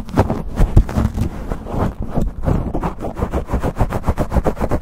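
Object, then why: Foam microphone windscreen. Fingertips and nails rapidly scratch, pinch and rub a black foam windscreen on a microphone held close to the camera. The result is a dense, muffled, bass-heavy crackling rustle with little brightness. It settles into quicker, evenly spaced scraping strokes toward the end.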